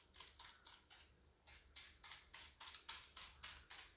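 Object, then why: Plastic computer keyboard. Fingertips press, rub and scratch across the plastic keycaps of a full-size black plastic keyboard with a hollow body resting on a granite counter. About 15 bright, brushing scrapes repeat at a loose, uneven rhythm, each with a short clicky edge that fades quickly. A faint low hum sits underneath.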